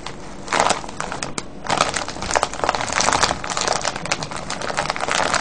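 Hands press and crush a full clear plastic cellophane candy bag, tied with a ribbon and filled with wrapped candies. Dense, bright crinkling and crackling fill the clip, with a quieter stretch near the start before the crumpling grows busier and louder.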